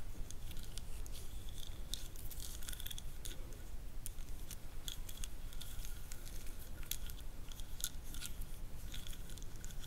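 Long nails scratch and tap along the ribbed grooves of a solid, light hand-held wooden massage roller about 20–25 cm long, with small gems stuck on the hands. Quick, uneven dry clicks and scrapes run throughout over a steady low rumble, each one cutting off almost instantly.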